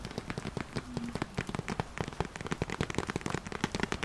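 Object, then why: Ceramic plant pot. Long nails tap and scratch the outer wall of a medium beige ceramic (possibly concrete) pot holding a small artificial green plant, held in both hands. Quick, dry clicking taps come in an irregular, rain-like patter, each with a low, dull body and almost no ring. A brief scratching stroke is heard near the one-second mark.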